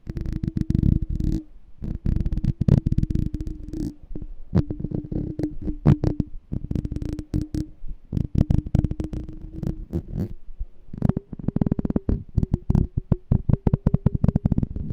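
A small, hollow, clear glass jar with a black label and a gold metal lid, partly filled with water and held sideways, is tapped and scratched with fingernails. Dense, rapid dull taps and scrapes sit over a steady low hum, with a brief quieter pause partway through and a slightly higher tone toward the end.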